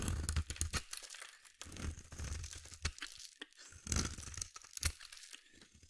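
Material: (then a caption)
Soap. A solid, hand-sized bar of blue soap held in one hand is shaved and scraped with a metal utility blade, peeling off crunchy curls. Repeated crunchy, tearing scrapes combine a low, dull body with a bright, crackling edge. Each stroke ends quickly in close, dry quiet.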